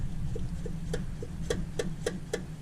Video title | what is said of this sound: Beginners HPDE Track Car Under $2,000? | it's hitting that and it's causing this tinging so we need to secure this a little bit better